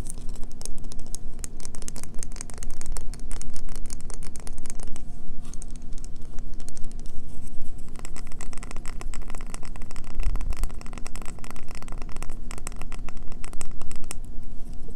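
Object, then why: Bar of soap. Long fingernails scratch quickly at a solid green bar of soap held in the hands, and the shavings pile up on a table. A dense, continuous run of rapid, gritty scrapes and light taps fills the clip, heavy in the low end, with a faint steady low hum underneath.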